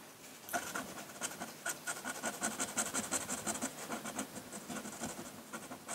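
A metal pen nib in a wooden holder scratches ink strokes across a flat sheet of drawing paper, working near the rock area of a landscape drawing. A quick, uneven run of short, dry scratches with bright, hissy edges starts after a brief quiet moment and keeps going to the end.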